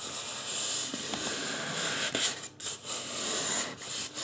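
Fingertips rub and scratch the scalp of a life-size white polystyrene foam mannequin head as it is turned. The result is a steady, bright, hissing scratch with little low end, swelling briefly louder near the middle before dipping into short quiet gaps.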